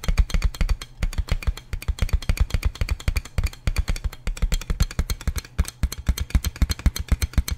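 Fingertips tap and scratch a large, clear plastic inflatable air column packaging bag with hollow air-filled tubes while it is held up. The result is a quick, uneven run of about sixty soft, hollow, low thumps, roughly four per second, each dying away almost instantly. A faint papery scratch sits between the taps.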